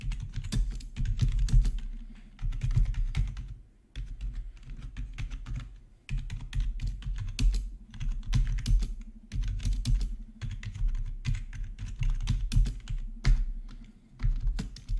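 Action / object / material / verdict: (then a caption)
tap / plastic membrane keyboard / plastic / none. Fingertips of both hands type steadily on a full-size black plastic membrane gaming keyboard with RGB backlight, resting on a marble surface. Its hollow housing gives dense, dull, low-pitched tapping thuds with faint bright clicks. The taps come in bursts with brief pauses.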